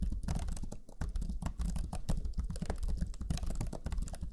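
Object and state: Plastic laptop keyboard.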